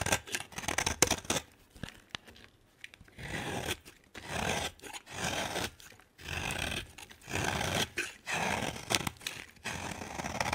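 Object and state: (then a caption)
Bar of soap being scraped. A utility knife blade scrapes a hand-sized, solid cream bar of soap with green patches into powdery shavings. Quick crisp ticks and cuts at first give way to longer raspy scraping strokes, each a bright, dry hiss that stops sharply with almost no ring. Short pauses separate the strokes.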